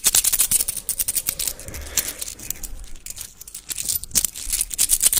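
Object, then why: Small metal coins. Small solid metal coins held in the fingertips of both hands close to a microphone are tapped and clicked against each other and rubbed between the fingers. Rapid, bright metallic clicks and ticks come in dense bursts, separated by softer scraping and rubbing. The clicks die away almost instantly.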